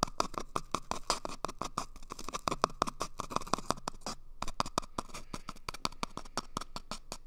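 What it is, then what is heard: Cardboard toilet paper tube. Fingernails scratch and pick at the end and surface of an empty, hollow cardboard toilet paper tube held up close to a microphone. The result is a rapid, dense run of short, dry scratching clicks with a hollow mid-pitched ring near 1.1 kHz and a bright papery edge. A brief pause falls just past the four-second mark before the scratching resumes.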